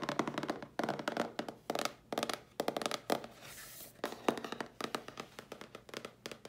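Long nails tap and scratch the side panels and edges of a cardboard mailer box held in front of the body. Quick bursts of dry, hollow taps with a low-mid body near 320 Hz and almost no ring alternate with softer scratching, including a steady bright rasp partway through.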